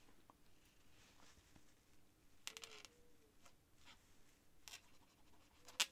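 The tip of a white feather quill scratches short writing strokes across a thin cream paper sheet on a desk. The quiet, dry, bright scratches come in brief bursts over a faint steady hum, with the sharpest stroke near the end.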